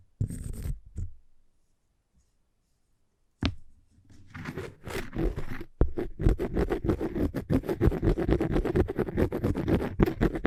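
Fingernails or a tip scratch across the surface of a cork coaster, producing dry, low-pitched scraping. A short burst of scratching is followed by a pause, then from about four seconds the scratching resumes as a rapid, continuous series of strokes until the end.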